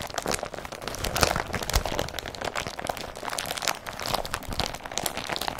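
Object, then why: Woven polypropylene carrier bag. Short nails and fingertips scratch and rub the woven surface of an empty blue woven polypropylene IKEA BRATTBY carrier bag, up close. A dense, continuous crinkling and scratching runs throughout, bright and papery, with brief louder rasps standing out along the way.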